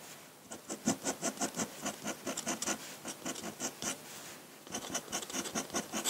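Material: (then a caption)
Paper. A metal dip-pen nib scratches across a large, flat sheet of white drawing paper in quick hatching strokes, making about 22 short, bright, raspy scratches in a steady rhythm. The strokes pause briefly near the four-second mark, then resume at the same brisk pace.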